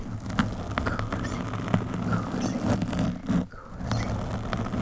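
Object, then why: Foam microphone windscreen. Long metallic nails scratch a black foam windscreen on a microphone with both hands. A dense, low, muffled rustling and scraping runs throughout, with brief sharp clicks scattered on top and a short dip in the scratching about three and a half seconds in.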